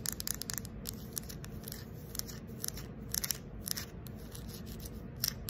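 Long acrylic nails scratch and tap the surface of a fist-sized, round, carved wooden ball, possibly coconut shell, inlaid with light slivers and likely hollow with an opening. The result is a quiet run of dry, bright clicks and scratchy ticks over a low, steady background rumble, each tap dying away almost instantly.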